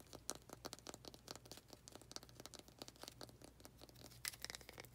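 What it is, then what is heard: Wooden planter. Long fingernails tap and scratch on a small faceted wooden planter. Quick, bright clicks and dry scratching strokes follow one another closely over a faint, steady low hum, each tap dying away almost at once.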